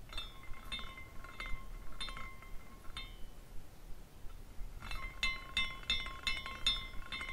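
A small glass carousel figurine spins after a hand spin, its hanging glass horses swinging and clinking against the glass poles. Bright, chime-like glass tinkles ring over a steady tone near 1 kHz, fade into a quiet pause, then return in a denser burst of clinks.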